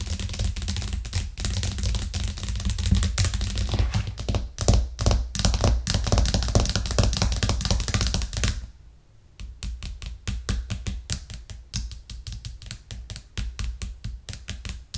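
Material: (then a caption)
Plastic. Long nails on both hands tap fast and hard on a white plastic cutting board with green edges, resting flat on a cork trivet. Dense, rapid clicking taps with a deep thudding body fill the first half, then fade into a brief near-silent pause just before the nine-second mark. The tapping resumes as sharper, more spaced-out clicks.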